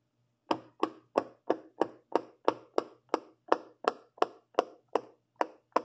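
A fingertip with a long purple nail pushes the hollow bubble domes of a large rainbow silicone pop-it fidget toy, one after another. Sixteen short, dry pops land at a steady pace of about three per second. Each pop has a midrange body around 500 Hz and fades almost instantly, over a faint low hum.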